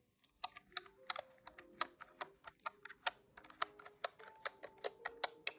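Fingertips tap rapidly on the keys of a large, hollow grey-white plastic desktop calculator. About nineteen short, bright plastic clicks come in an uneven quick run, each dying away almost instantly.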